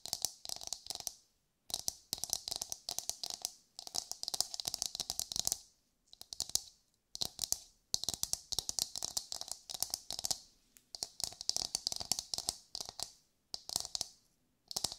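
A brown coconut shell, likely hollow, is held in the hands and tapped and scratched with long white nails across its fibrous surface. Bursts of quick, dry, bright clicking and scratching come in runs of a second or two, separated by short silences, with a faint hollow tone beneath.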